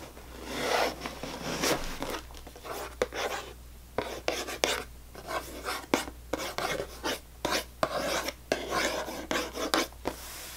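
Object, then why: Cardboard cracker box. Long manicured nails and fingertips scratch and tap the top and front of a closed, full, medium-size cardboard box of Premium saltine crackers standing on a table. Dry, raspy scratching strokes are broken up by short, sharp taps with almost no ring.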